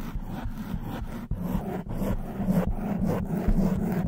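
Long white acrylic nails from both hands scratch and rub a hollow black open-cell foam windscreen covering a silver studio microphone. The result is a close, muffled, boomy scratching with a low hum, in quick, uneven strokes that brush and grind continuously with brief breaks.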